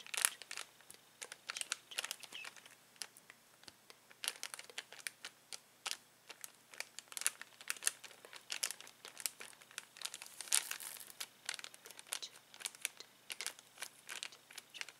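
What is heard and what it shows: Fingertips and nails press, rub and crinkle a clear, crinkly plastic retail bag full of small uninflated latex balloons, with a printed cardboard header card, lying flat on a table. A steady stream of quick, bright crackles and crinkles comes through, each one short and dry over a quiet background with no low end.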